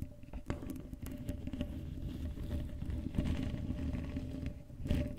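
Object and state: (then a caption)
Metal mesh microphone grille being scratched. Long pale-blue acrylic nails scratch and tap the uncovered black metal mesh grille of a Blue Yeti USB microphone's hollow dome head, then the hands cup it. The result is a dense, close, low-heavy rumbling patter of scratches with sharp, quick-fading taps and a faint steady tone underneath.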